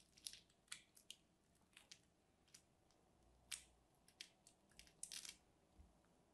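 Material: Soap.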